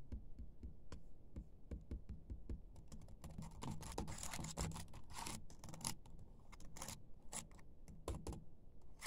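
A laptop keyboard with black plastic keys is typed and tapped quickly with the fingertips and short nails of one hand. The result is a rapid stream of soft, clicky keystrokes with low thuds, broken by a denser, scratchier patch in the middle.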